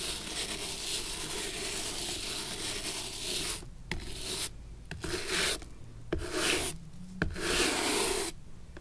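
A bristle brush repeatedly scrubs the dusty sole of a single worn, antique leather shoe held on its edge. A steady, bright, hissing rub runs for the first few seconds, then breaks into separate brushing strokes with short silent gaps and a few sharp clicks between them.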